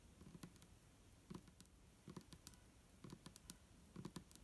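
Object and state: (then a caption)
Plastic bottle of liquid tapped with fingernails. Long nails on both hands tap the sides of an upright, hollow, clear plastic micellar water bottle with a green cap and liquid inside. Quick, quiet clicks come in small clusters, each with a low hollow thump and a bright tick that die away almost instantly.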